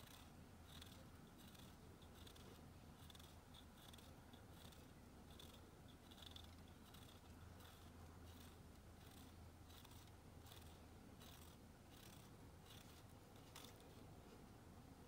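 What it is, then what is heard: Bar of soap. A thin pink stick, likely a nail file, scratches and shaves the side of a solid white, palm-sized Dial bar soap held in a blue-gloved hand, with shavings falling into a metal tray. Quiet, repeated bright scraping strokes run steadily throughout over a constant low hum.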